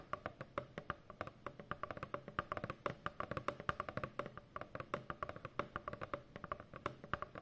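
Long fingernails of both hands tap rapidly across a large, hollow corrugated cardboard shipping box, making about fifty quick, dry clicking taps over seven and a half seconds. Each tap is short with almost no ring, centered on a hollow mid-range knock with a faint low thump beneath, in a steady, busy rhythm.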